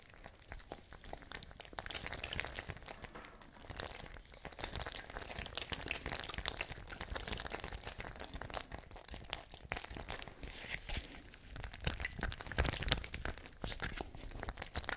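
A small patterned fabric ice bag with a cap, partly filled with water, is held by the cap close to the microphones and shaken and squeezed. It produces continuous sloshing and gurgling water sounds, with soft crinkling from the fabric. The sound rises and falls without a clear pause for the whole clip.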